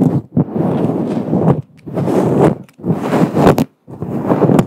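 Long acrylic nails of both hands scratch and rub a fluffy grey-white synthetic faux fur cover on a microphone, soft and hollow. A dense, crackly rustling comes through close and full, weighted in the low and middle range, in several long passes separated by brief silent gaps.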